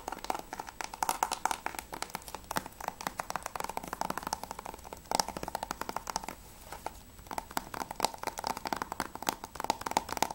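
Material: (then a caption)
Plastic. Fingertips and nails tap rapidly on the front cover of a hollow plastic PS3 Grand Theft Auto V game case with a clear sleeve. The result is a dense run of light, dry clicks and taps with a hollow plastic tone around 875 Hz and crisp bright edges. Each tap dies away almost instantly, with brief pauses between bursts.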